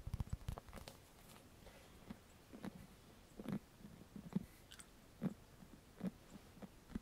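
Fingertips tap and scratch across the cushioned bristle face of a handheld black paddle hairbrush with a hollow plastic body, held up close. About twelve soft, dry, low thumps land at an irregular pace, with faint scratchy rustling between them and almost no ring.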